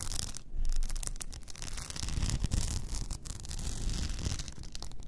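Long nails scratch over the sides and frosted lid of an upright blue rhinestone-covered tumbler. The result is a continuous, dense scratching and rubbing texture with a deep low rumble underneath and a thin, bright crackle riding on top, swelling and easing as the nails move.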